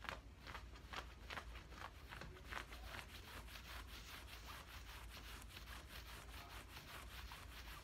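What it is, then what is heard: Cotton cargo pants being scratched. Fingertips and nails scratch and rub along the thigh and pocket of worn camouflage cotton cargo trousers. A steady run of soft, rhythmic scratching strokes makes bright, papery fabric rasps, with a faint low hum underneath.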